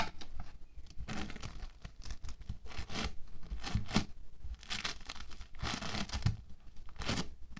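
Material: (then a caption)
Polystyrene foam beads. A hand-sized lump of soft orange foam bead modelling clay, made of small polystyrene beads in a binder, is squeezed, pressed and kneaded with fingertips and palms on a white table. It gives repeated bursts of dry crackling and crunching, like soft tearing, that rise and fade with each squeeze, with a low thumping undertone from the pressing.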